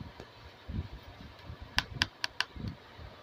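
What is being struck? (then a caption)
Small hard plastic toy camera. A small, hollow, hand-sized pink hard plastic toy camera is held in both hands and turned while being tapped and clicked with long blue-painted nails. Soft low handling rustles lead into four sharp, bright clicks in quick succession, each dying away almost instantly over a faint steady hiss.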